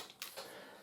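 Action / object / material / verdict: shake / air rifle hammer, metal / metal / loose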